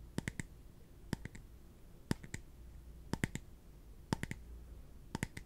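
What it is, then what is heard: Plastic cup tapped with fingertips. A small, translucent, empty clear plastic cup is held in the hands and tapped with the fingertips on its bottom and side. Eighteen quick, dry clicking taps come in six evenly spaced bursts of three, each with a bright, high edge that dies away almost at once. A faint low hum runs steadily underneath.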